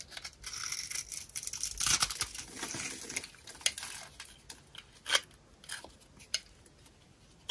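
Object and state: Dry soap bar, crunchy.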